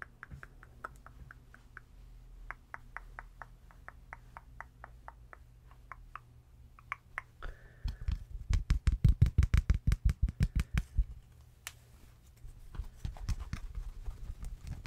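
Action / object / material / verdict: scrape / stuffed plush teddy bear / plush fabric / none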